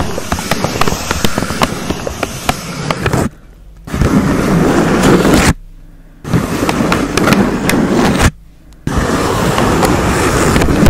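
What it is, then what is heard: Paper cupcake liner scratched and tapped. A thin, hollow brown pleated paper cupcake liner fitted over a microphone's foam cover is scratched along its pleats and tapped with long acrylic nails. Dense, crackly scratching with sharp clicky taps runs close and loud, heavy in low rumble from the foam contact. It stops briefly three times into near silence.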